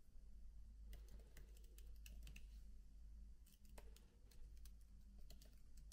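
Both hands type continuously with fingertips on the black plastic keys of a MacBook laptop keyboard with an aluminium body. Soft, quick key clicks with bright, short transients sit over a steady low hum, in a quiet, continuous stream of taps.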